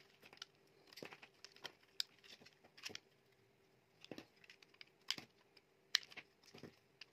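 A utility knife blade scrapes and carves chips from the face of a solid, dry red Freshman-brand soap bar held in the hand. Quiet, bright, crisp scraping and crackling come in irregular bursts, with sharp clicks as the blade cuts into the bar.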